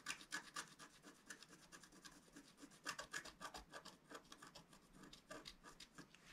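A pointed wooden stylus scratches lines near the bottom center of a thin, flat black wax-coated scratch-art paper sheet held in one hand. The result is a quiet run of quick, dry, bright scratching strokes in an uneven rhythm, each stopping sharply with no ring.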